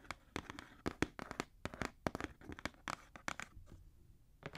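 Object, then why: Cardboard shoe box. Fingernails scratch and tap the side of a black Jordan cardboard shoe box held upright. The result is a quick series of dry, papery taps and rough scratches with short, sharp attacks that die away almost at once.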